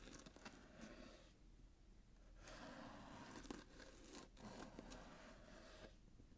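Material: Cardboard.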